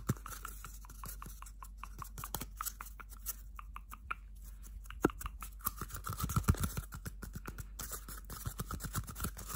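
A small, hollow, empty cardboard toilet paper roll is held close and scratched and tapped along its outside with bare fingernails. It makes a quiet, steady stream of dry, short scratches and papery taps over a faint low hum, with a few sharper taps standing out midway and toward the end.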